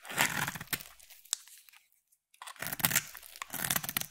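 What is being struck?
Solid bar soap cut with a knife blade.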